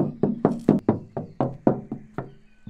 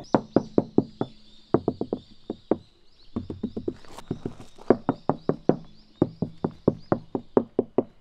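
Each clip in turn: First: resonant untreated steel car body panel. Second: deadened car body panel, dull knock.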